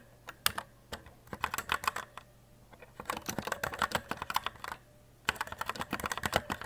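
Fingertips type steady key presses on a compact white E-Element Z-88 RGB mechanical keyboard with plastic keycaps. Quick, sharp clicky clacks come in bursts, separated by two short pauses. A faint low hum sits underneath.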